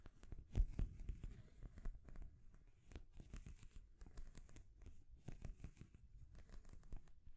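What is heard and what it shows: Long nails scratch and tap the rings of a small rainbow stacking ring toy made of solid painted wood, with a wooden base and a ball top. Dense, quiet clicks and scratchy strokes run throughout, with a couple of louder taps near the start and an energy that sits mostly low and dull.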